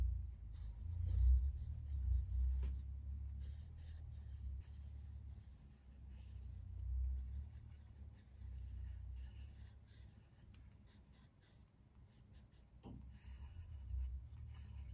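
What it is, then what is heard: Pencil drawing on a paper pad. A hand draws with a green colored pencil fitted with a black clip-on holder on a flat, thin white paper sheet on a drawing pad lying on a wooden desk. Light, irregular scratching and rubbing of pencil lead on paper comes through as faint bright strokes over a steady low rumble. The overall level stays quiet, swelling and fading with the strokes.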